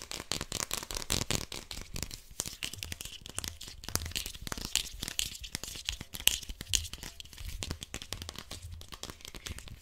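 Fingernails scratch and tap quickly along the sides of a small, hollow white plastic cosmetic or deodorant bottle with a red cap and a paper-like label, its fill unknown. The result is a dense run of dry, bright scratches and clicks with almost no ring, over a faint low rumble.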